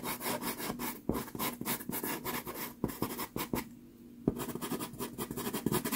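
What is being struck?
Pastel pencil on sanded pastel card.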